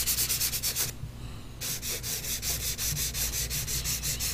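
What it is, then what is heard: Paper drawing sheet rubbed with pastel. Fingertips and a palm rub and blend pastel colour across a large, thin sheet of drawing paper lying flat on a board, in repeated strokes. Each stroke gives a soft, bright, papery swish over a faint low hum, in a steady rhythm. The strokes pause briefly near the start, then resume.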